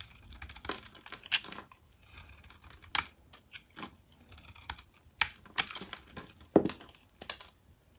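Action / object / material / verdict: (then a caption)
scrape / bar of soap scraped by a metal blade / soap / none. A metal blade scrapes and shaves flakes off a solid rectangular mint-green bar of soap with embossed text, held in the hand. Dry, crisp scraping and crackly shaving bursts come in uneven strokes, with sharp bright clicks at the loudest cuts. Each sound ends abruptly, with quiet gaps between strokes.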